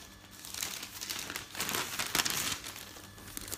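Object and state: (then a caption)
Newspaper sheets, crinkling. A hand lifts and turns a newsprint newspaper page up close, then rubs the sheets flat. The result is a bright, crinkling rustle that swells in the middle and gradually settles into softer rubbing.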